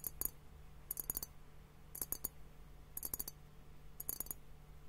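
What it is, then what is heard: Glass liquid hourglass tapped. Fingertips and nails tap on both bulbs of a clear glass liquid hourglass timer filled with pink liquid and foam. Quick clusters of sharp, bright glassy clicks arrive about once a second, each dying away almost instantly, over a faint steady low hum.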